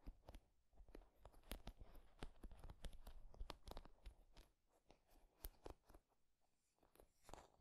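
Fingertips strum and scratch across the wooden pins of a wooden paddle hairbrush. Quiet, quick, irregular dry clicks and crunchy scratches, each broadband and bright but dying away almost at once with no ring. The activity is steady through the first half, thins out in the middle, then picks up again near the end.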